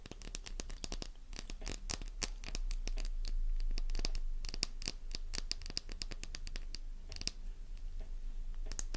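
Long nails rapidly scratch a small, solid, flower-shaped pink bar of soap held in the palm, and the first shavings start falling. The scratches come as quick, uneven, crisp clicks with a bright edge over a steady low rumble.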